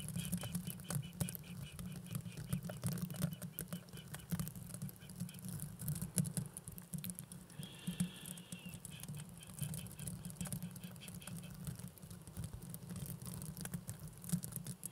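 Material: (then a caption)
Plastic. A pair of small, hollow blue plastic velcro hair rollers with a bristly hook surface is held close to a microphone and scratched and rubbed with fingertips and painted nails. The result is a dense, continuous, low-heavy scratchy patter of rapid crackles and tiny clicks, with a brief faint squeak partway through.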